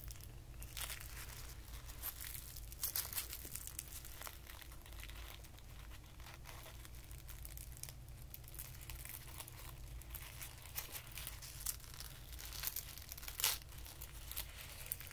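A small, compact ball of white tissue paper is pulled apart and unfolded by the fingers. It makes quiet, continuous crinkling and rustling with bright, crisp crackles, over a steady low hum.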